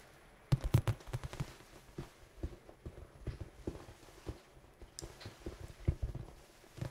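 A large red dice cube with black pips, apparently soft foam, is held in both hands and tapped rapidly with fingertips and nails. About sixteen dull, low thuds come in quick, irregular bursts, each dying away almost at once, with a few brighter nail clicks among them.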